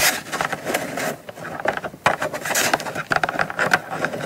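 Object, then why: Small cardboard box. Long nails tap and scratch along the top edge and face of a small, closed, hollow brown kraft cardboard gift box held upright. The result is a run of quick, dry, papery taps mixed with bright scratchy rustles, with almost no low end and no ring after each tap.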